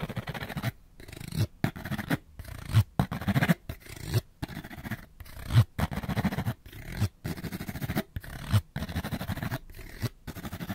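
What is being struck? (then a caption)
Small cardboard light bulb box. Fingernails rapidly scratch along the edge of a small, hollow, printed cardboard light bulb box. The scratching comes in fast, rough bursts broken by short silences, with a dull, low, papery rasp and little high-end brightness.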